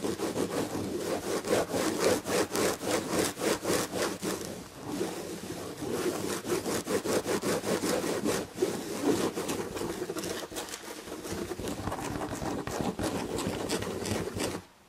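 Long red fingernails scratch the textured damask upholstery on a padded chair back, making a steady run of dry, rasping strokes with a bright, scratchy hiss. The scratching goes on for about fifteen seconds with a brief lull partway through, then stops abruptly at the end.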